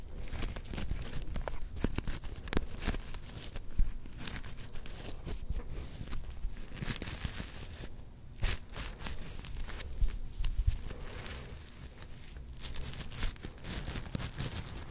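A palm-sized soft star-shaped plush covered in black and gold flip sequins is held in both hands and scratched and brushed with long nails. Dense, crinkly scratching and rustling with quick clicky ticks runs steadily throughout, with a few sharper crunching swipes standing out.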